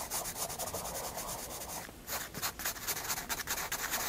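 A graphite pencil shades hair with rubbing strokes on a flat white paper page of a spiral sketchbook. A dry, bright scratching hiss runs steadily for about two seconds, dips briefly, then breaks into quicker, separate back-and-forth strokes. The sound stays light and high with little low end.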